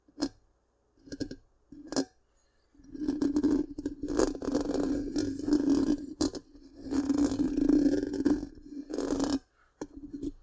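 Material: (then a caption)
Metal mesh. Long pink-painted nails scratch the black round metal mesh grille of a large, hollow microphone. A few short scratchy bursts give way to long stretches of continuous rasping scraping with a steady hum-like tone around 270 Hz, broken by brief pauses and ending in short scratches.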